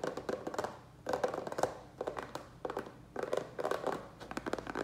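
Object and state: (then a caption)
Plastic tray, hollow. Fingertips and nails tap fast on the base of a small black plastic rectangular tray turned upside down, hollow and empty. The taps come as quick bursts of hollow, clicky knocks centered around 500 Hz, each dying away almost at once, with short pauses between bursts.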